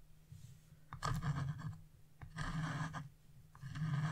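A flat wood-carving chisel scrapes the black wax coating off a scratch-off coloring page with a bird and rider design, leaving coating flakes. Three rasping scraping strokes come through, bright and gritty, over a steady low hum.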